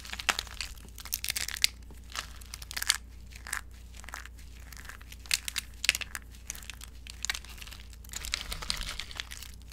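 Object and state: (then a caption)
Dry soap shavings. Fingers crush and crumble brittle, dry orange soap shavings in a glass bowl, then let the fragments fall. Dense, bright crunching and crinkling bursts come in quick clusters with short pauses between them, over a faint steady low hum.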